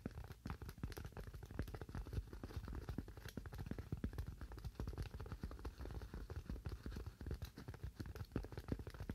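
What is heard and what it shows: A solid, hand-sized white styrofoam slab, held in both hands, is tapped rapidly and continuously with fingernails. The taps are quiet, dull and low, each a short dry click or knock with almost no ring, forming a steady crackling patter.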